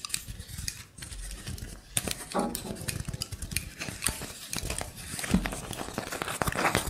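A wooden block trivet is held and slightly flexed while fingernails scratch along the edges and tops of its blocks. Dense, dry scratching and rapid clicking fill the clip, with bright rasps over soft, low wooden creaks and knocks.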